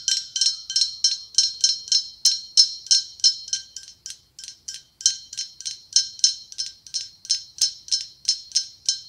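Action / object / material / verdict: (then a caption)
tap / blown-glass pumpkin ornament / glass / none. A hollow, ribbed white blown-glass pumpkin with a gold stem is tapped with long acrylic nails, about 30 quick clicks in a steady, slightly uneven rhythm. Each tap is a bright, high glassy tick with a very short ring and no low end.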